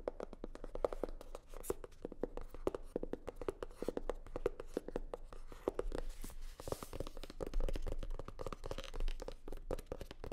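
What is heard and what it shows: Long nails tap and scratch a hollow, navy blue hard-shell sunglasses case covered in faux leather. Rapid, quiet, dry clicks carry a hollow tone around 500 Hz, with almost no ring, mixed with soft scratching.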